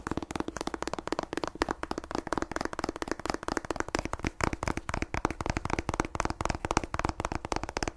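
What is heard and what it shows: Long nails tap fast on the glossy paper cover and spine edges of a solid paperback book, making a rapid, unbroken stream of short, dry clicks. Each tap is crisp and dies away almost instantly, over a faint steady low hum.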